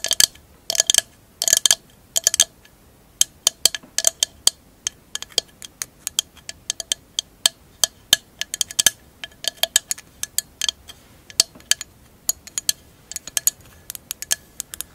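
A mirror mosaic glass candle holder, turned upside down with its clear glass base facing up, is tapped around the edges with long acrylic nails. Rapid, bright clicks and clinks come in quick bursts and scattered single taps. Each one is very short and high-pitched, with almost no low end or ring.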